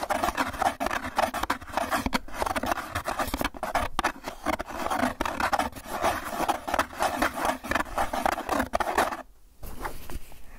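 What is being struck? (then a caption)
Foam clamshell takeout container. Fingertips and nails rapidly tap and scratch the surface of a small, hollow white styrofoam clamshell takeout container held close. The result is a dense, continuous run of dry, crinkly scratching and tapping, strongest in the midrange. It breaks off near the nine-second mark before fainter scratches resume.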